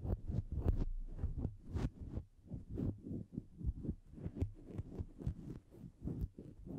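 A grey-white faux-fur windscreen over a Blue Yeti microphone is petted, rubbed and picked through with the fingertips of both hands. The result is a dull, low, muffled stream of soft brushing and thumping strokes close to the mic, with almost nothing bright.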